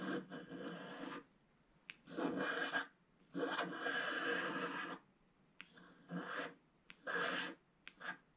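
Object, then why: Wax-coated scratch art paper scratched with a wooden stylus. A wooden stylus scratches across a flat, black wax-coated scratch-art sheet at the ship area while the other hand steadies the sheet. Several dry, raspy scraping strokes come in bursts separated by quiet pauses, with a few short ticks where the stylus touches down.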